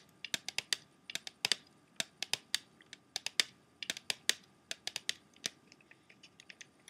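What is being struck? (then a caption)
Clear plastic CD jewel case. Fingernails tap rapidly on the clear plastic disc tray of an open, empty plastic CD jewel case. About 26 sharp, bright clicks with almost no low end ring out briefly and die away instantly, coming in uneven bursts at varying loudness.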